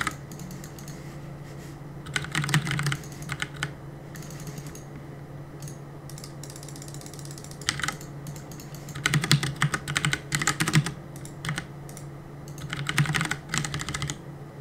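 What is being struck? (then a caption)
Plastic mechanical keyboard keys. Fingertips press and tap the plastic keycaps of a black plastic CM Storm mechanical keyboard on a desk while gaming. Quick bursts of bright, clacky keystrokes come in clusters, separated by pauses over a steady low hum.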